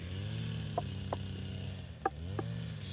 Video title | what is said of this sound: Comment récolter les meilleurs melons | celui-là elles sont beaucoup plus aiguës c'est à dire que lui est pas prêt